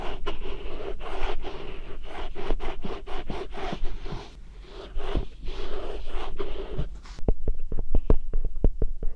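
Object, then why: Whole Korean melon rind. A whole, medium-sized, solid yellow Korean melon (chamoe) is held in both hands beside a binaural mic while fingertips and nails rub and scratch its smooth rind. Steady, dry scratching and scraping continues with a brief softer dip near the middle. In the last couple of seconds it turns into sharper, more distinct clicky strokes.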